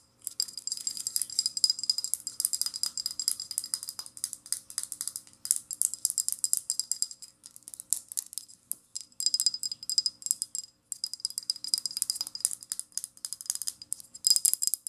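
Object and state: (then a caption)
Small glass spray bottle. Long painted nails rapidly tap and scratch the glass body and label of a small amber glass rose water spray bottle with a white plastic pump top, apparently filled with liquid and held up close. Dense bursts of crisp, bright clicks and scratchy ticks fill the clip, each dying away almost at once, with a faint steady glassy ring underneath and short pauses between runs.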